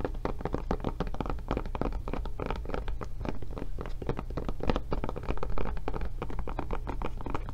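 Long nails tap rapidly and continuously on the back of a blue silicone rubber tablet case fitted over a solid tablet. The taps are soft, dull thuds with almost no ring, sitting over a steady low hum and carrying little brightness.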